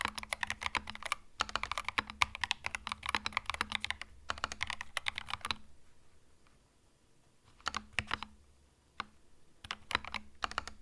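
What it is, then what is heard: Mechanical keyboard with plastic keycaps. Fingertips type on a compact cream mechanical keyboard with plastic keycaps, making rapid bursts of sharp, bright clacks with a light low thump under each press. The typing runs fast for about five seconds, falls quiet for roughly two seconds, then returns as scattered keystrokes and short runs. Each click is crisp and dies away almost instantly.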